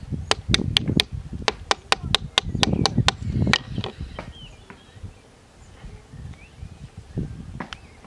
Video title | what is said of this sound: How to make a Sycamore Whistle! | Did you hear that click? The bark has now separated,